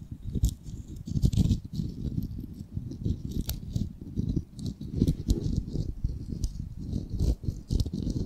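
Fingernails tap quickly on the surface of a solid, palm-sized, unfinished wooden ball of raw light wood. A dense, rattling patter of short, dull, low knocks continues throughout with no ring after each tap, and faint bright clicks flicker above it.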